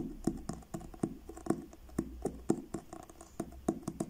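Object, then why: Paperback book with card cover. Fingertips and short nails tap on the cover of a blue card-covered paperback book in a slow, uneven rhythm. Each tap is a short, dry knock with a dull midrange body and a faint bright click, and the taps stay quiet and die away almost at once over a low steady hum.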